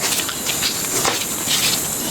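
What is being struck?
Nothing is struck.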